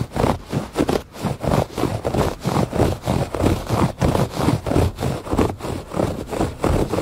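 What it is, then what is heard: Woven fabric rug. Fingernails scratch the pile of a thick woven fabric rug lying flat on a porch floor. Repeated, slightly uneven strokes make muffled, low scratchy rasps that swell and fade with each pass, with almost no bright top end.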